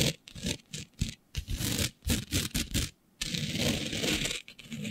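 Long nails scratch a flat sheet of black fabric covered in fine green glitter, producing short bursts of bright, gritty rasping separated by brief silences. Near the end, the strokes merge into a longer, continuous scrape with a steady high hiss and some low rumble beneath it.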